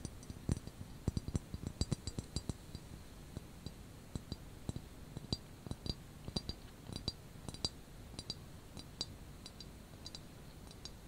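Manicured medium-length fingernails tap and clink on the glazed spout of a hollow, medium white ceramic teapot wrapped in a grey knitted wool cozy that leaves only the spout and handle exposed; the pot is then held in both hands. Many short, dry clicks come in an irregular rhythm, each a bright clink with a soft low knock underneath. They die away almost instantly over a quiet, faintly hissy background.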